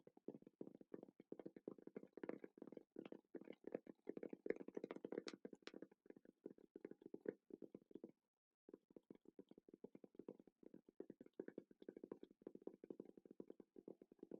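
Quick, light fingertip taps on a Rode wireless microphone case make a dense run of short, dry knocks with almost no ring. The sound is centered in the low mids with a less hollow tone than a pencil case, and it pauses briefly near the middle before continuing.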